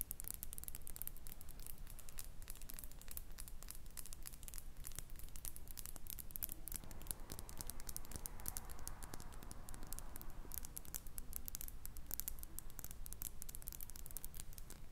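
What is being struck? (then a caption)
Small glass perfume bottle with metal cap. Long nails tap and scratch a small faceted glass perfume bottle with a metal cap, partly filled with amber liquid and held in the hand. A dense, steady stream of quick, dry ticks and light scratches continues for the whole clip, quiet over a low background rumble, with a brighter, scratchier stretch in the middle.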